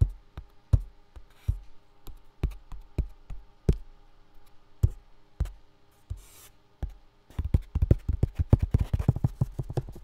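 A full box with contents inside is tapped with dull, low, short knocks at an uneven pace, with soft scratchy brushes between some taps. Near the end the tapping speeds up into a dense, rapid flurry.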